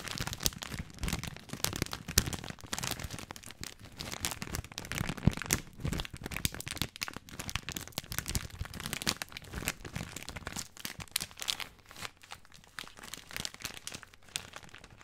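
Fingertips crinkle the loose plastic film end of a full spaghetti bag, held first horizontally and then upright. A continuous stream of dense, brittle crackles and rustles with bright high edges and soft low thumps from the dry pasta runs throughout.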